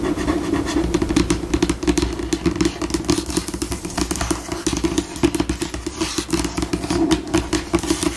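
Long pink acrylic nails on both hands scratch, tap and scurry across a flat, solid white glossy laminate tabletop, changing between slow and fast. The result is a dense run of quick clicky taps layered over steady, bright scratching, with a low resonant tone underneath.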